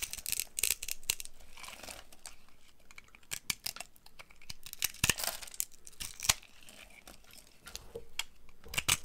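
A box cutter blade carves chunks and flakes from the end of a solid brown dry laundry soap bar held in one hand. The sound is a run of dry, crisp scraping and crumbly cuts, bright and high, with sharp tearing bursts standing out between softer rasping strokes.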